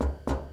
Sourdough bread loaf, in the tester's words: you can knock it. When it's like a solid sound, see if you can hear